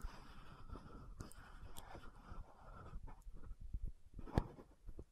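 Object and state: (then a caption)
Plastic lotion bottle cap, scratched and tapped. Long nails scratch and tap the cap area of an orange-red frosted plastic lotion bottle with a gold cap. Quiet, continuous scratching with a faint hiss runs through the first three seconds, then gives way to sparse, light taps. One sharper, brighter tap stands out near the end before the sound fades.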